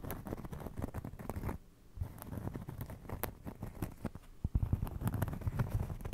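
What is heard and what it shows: A round, flat, solid cork trivet is held in both hands in front of and beside a microphone and scratched and tapped with fingertips and nails. It makes a dense, soft, low-pitched patter of dull taps and rustling scratches that stop briefly in a short pause, then resume and grow louder and thumpier toward the end.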